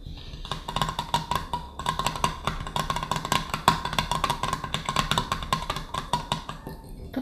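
Fingertips and nails of both hands tap quickly and repeatedly on the top and rim of a silver metal screw lid on a green glass Mason jar standing on a wooden table. The result is a rapid, uneven patter of short, bright clicks with a faint metallic ring around 1 kHz that dies away almost at once.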